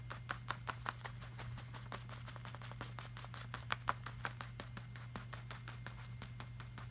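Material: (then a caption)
Laminated paper. Fingertips trace and lightly scratch over the shiny surface of a flat, glossy laminated art print, making a quick run of short, soft, dry ticks and scrapes with brief brighter clicks. A steady low hum sits underneath throughout.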